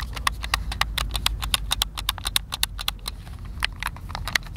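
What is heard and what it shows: A white, hand-sized, hollow plastic Xbox controller is held in both hands while fingertips and thumbs press and click its buttons. Rapid, irregular, sharp clicks with bright ticks around 2 kHz sound over a low, steady rumble, each dying away instantly.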